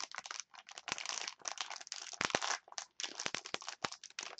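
Long nails scratch and squeeze a clear plastic package of wooden chopsticks. The result is dense, bright crinkling in quick, uneven bursts separated by brief pauses, with sharp crackling snaps and almost no low end.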